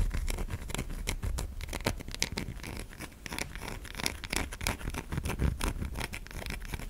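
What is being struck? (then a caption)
Solid bar of soap. Long fingernails scratch grooves along a white solid bar of soap held in the fingers. The result is a steady run of quick, dry, crackly scrapes with bright, brief transients over a soft low rumble.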